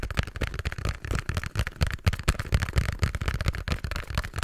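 A small pink cardboard box is held close to the mic while fingertips and nails tap and scratch it. The result is a quick, irregular run of dull, low thumps mixed with bright scratchy rustles, each tap dying away almost instantly.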